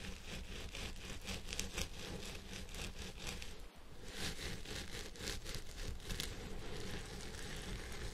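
Fingertips and nails of both hands scratch the fibers at the top of a purple synthetic wig on a head form, making a steady, dense rustling scratch with bright crackly bursts over a low constant rumble. The scratching briefly drops out for a moment just before the middle, then resumes at the same busy level to the end.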